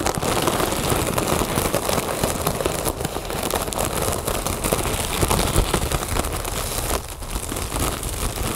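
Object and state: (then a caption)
Mylar foil balloon. A large inflated, hollow mylar foil "Happy Birthday" balloon lies on a table and is scratched and tapped with the long nails and fingertips of both hands. Dense, steady crinkly scratching and quick tapping fill the whole clip. It has a hollow low body and crackly texture, with a brief dip in level near the seventh second.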